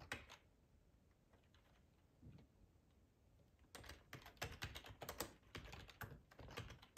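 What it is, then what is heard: Plastic computer keyboard being typed on. Fingertips type on a black plastic ergonomic split keyboard with a hollow housing, resting on a cloth tablecloth. A few scattered taps come first, then a quiet stretch, then a faster, uneven run of clacky keystrokes. Each keystroke is short and dry, with a hollow plastic click that dies away almost at once.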